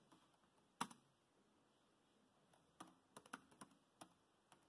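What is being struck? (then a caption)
Plastic laptop keyboard. Fingertips of both hands type on a dark grey plastic laptop keyboard, producing quiet, short plastic clicks in irregular bursts. A strong tap lands just before one second, then a cluster of crisp keystrokes follows later, each dying away almost instantly against a faint hiss.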